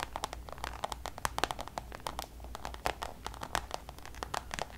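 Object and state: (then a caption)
Coated canvas pouch tapped and scratched with nails. Long nails tap and scratch on a Louis Vuitton coated-canvas designer pouch, using multiple fingers. A rapid, uneven stream of short, crisp clicks mixes with soft scratchy rustling, each tap dying away almost at once. A faint low hum runs underneath.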